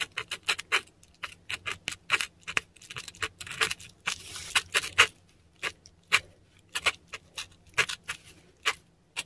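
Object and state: Korean paper sheet.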